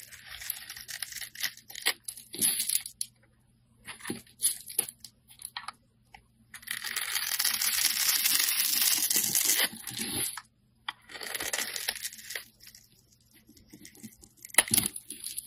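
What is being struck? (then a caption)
Bar of soap cut with a metal blade. A metal blade cuts into the grid-scored surface of a solid purple bar of soap held in the hand, popping off small soap cubes and flakes. Bright, crisp crackling and scraping come in short bursts separated by brief silences, with one longer continuous scrape in the middle.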